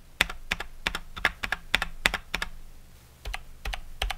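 A Cox Dauntless plastic mechanical keyboard with Cherry MX Brown switches and plastic keycaps is typed on by one hand, pressing individual keys, the spacebar and Enter with a fingertip. Sharp, bright plastic clicks come in quick, uneven bursts, each key giving a short double tick with almost no ring, and there is a brief pause before the typing resumes.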